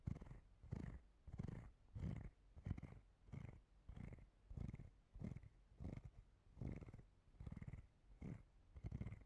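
A hand-sized, hollow, translucent clear plastic cellulite body brush with a textured dotted surface and small nubs around its rim is held in one hand and scratched and tapped with long dark-painted nails. The result is a steady series of soft, low, rumbling scratch bursts with a faint brighter edge, repeating at a loose rhythm of about one and a half per second.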